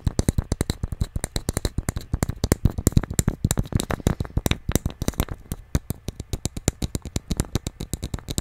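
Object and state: Hollow small wooden nesting doll.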